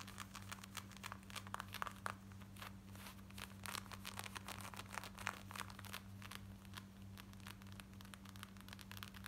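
Long nails scratch quickly over worn black denim jeans, moving across the back pocket, waistband and front. Dense, rough, crinkly scraping strokes come in rapid bursts with bright hiss, over a steady low hum throughout.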